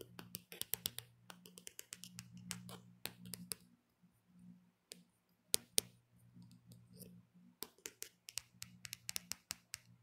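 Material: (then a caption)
Plastic. Long painted nails tap and scratch the back of a handheld smartphone in a black hard plastic case. Many short, bright, dry clicks come in quick irregular bursts with brief pauses, over a faint low hum.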